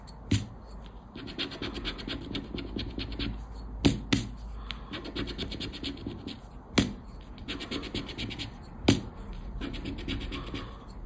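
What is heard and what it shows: A round black plastic scraper rubs the scratch-off latex coating from a thin coated-paper 20X scratch card lying flat on black cloth. The clip is a steady run of rapid, gritty scraping strokes with bright papery texture, broken by several sharp, louder taps.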